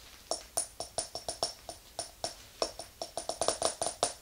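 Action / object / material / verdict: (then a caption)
tap / glass candle jar with metal lid / glass / none. Long acrylic nails tap a small round glass jar filled with white wax, with a metal lid on top, standing on a fluffy rug. Nineteen quick, clicky taps on the glass side and lid ring briefly, each with a clear tone around 650 Hz and bright, high overtones.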